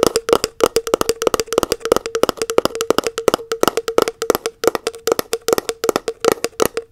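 Long acrylic nails tap rapidly on the lid and side wall of a round plastic body butter tub, producing a dense stream of short, dry clicks. Each tap has a hollow tone near 445 Hz with a bright edge and almost no ring, and the taps come in quick, uneven bursts for the whole clip.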